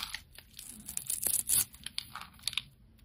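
A solid, hand-sized oval red soap bar is held in the fingers and scraped and carved with a metal utility blade, sending shavings crumbling off. Bright, dry scraping and crunchy crinkling strokes come in quick, uneven bursts. The loudest, harshest scrape lands about halfway through, and short crisp ticks follow.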